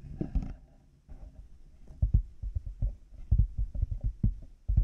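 Fingertips and nails of both hands tap and scratch a black plastic headphone headband fitted with plastic light-up cat ears, the headphones mounted on a binaural mic. After a brief scratchy rustle and a pause, a run of quick, dull, low thumps follows, each dying away almost instantly.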